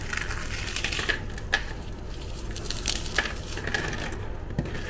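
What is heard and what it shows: Pieces of dry, crunchy chocolate-chip cookies are crushed and crumbled between fingers and thumbs into fine crumbs over a white surface. A steady gritty crackle runs throughout, broken by short, bright snaps as pieces break, over a low background rumble.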